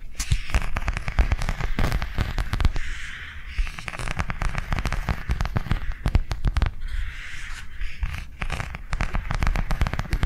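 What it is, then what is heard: Plastic cardholder book tapped with nails. Long nails tap fast on a small white plastic cardholder book with a snap closure, which rests tilted on a table. The tapping comes as a rapid, steady stream of sharp, dry clicks, each with a dull low knock and a bright brief tick that dies almost instantly. A soft hiss sits under the taps throughout.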